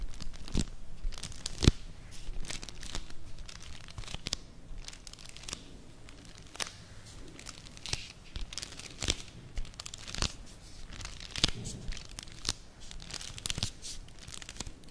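Long nails and fingertips tap and scratch a small, flat, full Vanini chocolate bar in a thin printed cardboard sleeve. Crisp clicks and dry scraping mix with a papery crinkle that suggests a wrapper inside. The quick, bright taps come in uneven bursts over a soft, low rustle.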